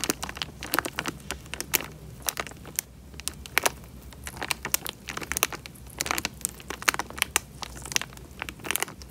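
Fingertips squeeze and crinkle the thin film of a small, clear plastic bag filled with water, with bubbles moving inside. The result is a dense run of sharp, bright crackles and crinkling snaps, closely spaced over a faint low rumble.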